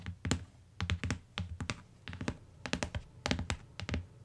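Long nails and fingertips tap on the cardboard cover and edge of a closed, solid tan hardcover book lying on a fur rug. The taps come in irregular clusters of short, dull thuds with a bright clicky edge from the nails. Each tap dies away almost at once.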